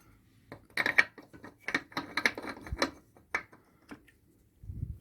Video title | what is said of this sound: Toyota hilux surf Fitting new Brakes + brake lines + prop bearing | it's resting on its stop so you can hear the note change